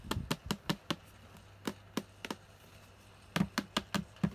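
Long painted nails and fingertips tap and knock on the front of a closed, hollow, lunchbox-sized red and yellow hard plastic Mickey Mouse toy case held in both hands. Thirteen short, dry, hollow knocks come in quick runs separated by pauses, each with a low body around 180 Hz and a bright clicky edge that dies away almost instantly. A faint low hum sits underneath the gaps.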